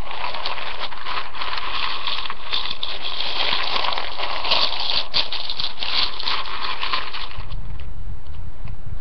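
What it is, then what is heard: Dry spiral pasta in a ceramic bowl. Fingers with nails push and dig into a large ceramic bowl full of dry rotini pasta, making the spiral pieces click and rustle against each other. A dense, crackly rustle runs almost steadily with many small clicks, bright and scratchy around the mids and highs. Near the end the clicking thins out and a low rumble comes up.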